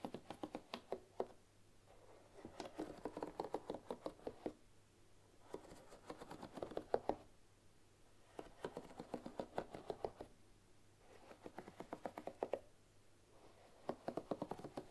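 Long nails flick and scratch across the wooden bristle pins of a bamboo paddle hairbrush lying on a wooden table. Quiet bursts of quick, dry wooden clicks and soft scratching, centered in the mid-range, come in repeated rounds separated by brief pauses.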